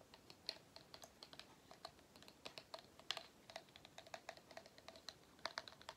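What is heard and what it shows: Fingertips and nails tap and scratch the pleats of a small, hollow, cylindrical pleated-paper vacuum cleaner filter with black rubber or plastic end caps, held up close. The result is a quiet, rapid, irregular stream of dry, bright clicks and ticks with almost no low end. Each tick stops instantly, sounding much like light typing on a keyboard.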